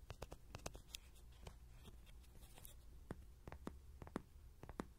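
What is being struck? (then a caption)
Hollow soft-vinyl toy. A hand-sized, hollow yellow soft-vinyl Rody riding-horse toy, with a pin mic clipped to its ears, is tapped and scratched on its body with short fingernails and fingertips. A quiet series of sharp, dry clicking taps with short hollow thuds comes through over a faint scratchy rustle, each tap dying away almost instantly.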